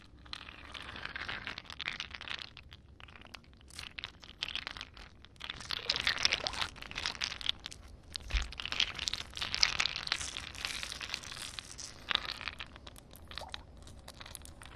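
Long painted nails tap and scratch on several solid, partly melted ice cubes resting on wet concrete. The sound is a dense run of short, bright crunching and crinkling clicks and scrapes, with very little low end and almost no ring after each touch.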